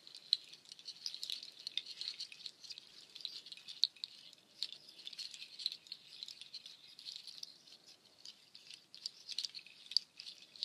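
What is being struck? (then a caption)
Strung nut shell shaker. Dark nut shells strung on a cord, forming a nut shell waterfall shaker, are rubbed and clattered together by hand with long nails. The result is a steady, dense, bright rattle of dry clicks and patter with no low end, punctuated by occasional sharper clacks.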